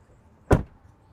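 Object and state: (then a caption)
Solid-sounding car door closing. The front door of a 2022 Audi SQ7 Prestige SUV, which has soft-close doors, is shut once with a single solid, low thud that stops almost immediately. The close sounds solid, as expected.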